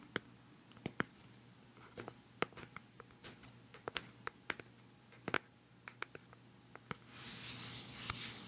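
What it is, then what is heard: Plastic cosmetic jar lid. Long fingernails tap the black lid of a hollow, round white plastic cosmetic pad jar held close to the microphone. A steady series of sharp, dry, bright clicks stops almost instantly, over a faint low hum. In the last second and a half, a broad, bright rustling hiss rises beneath the final taps.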